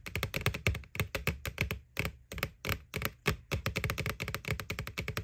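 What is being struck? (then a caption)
Hollow plastic Halloween bucket. Fingernails tap rapidly on the front wall of a white, hollow plastic McBoo Halloween bucket. Each tap gives a short, hollow low thunk with a bright click on top and dies away almost at once. The quick bursts of tapping break for brief pauses before resuming.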